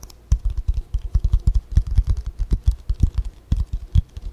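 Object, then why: Spiral-bound paper notebook cover. A white spiral-bound paper notebook is held and bent in both hands while long fingernails tap and scratch its cover. A quick, uneven run of dull, low taps with faint bright scratchy edges is heard, each dying away almost at once.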